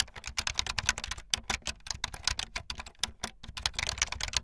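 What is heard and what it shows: Fingertips with long light-blue nails type fast on a full-size plastic keyboard with white, blue and yellow plastic keycaps and a blue backlit frame. A dense, rapid stream of sharp, bright key clacks sounds, each dying away almost instantly, with a light low thump under the taps.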